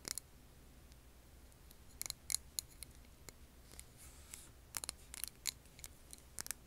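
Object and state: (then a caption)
Glass candle jar tapped with nails. Long nails tap on a clear glass jar filled with green wax candle, giving quiet, sharp, bright clicks that die away almost instantly. The taps come in small irregular clusters over a faint, steady low hum.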